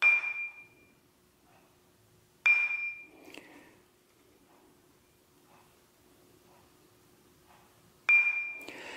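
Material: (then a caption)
Abrasive stone. New 36-grit and 80-grit abrasive bench grinder wheels are tapped in a ring test before installation. Each tap gives a clear, high ping ringing near 2.4 kHz that fades quickly, with quiet gaps between the taps. The wheels ring instead of thudding, marking them as sound and uncracked.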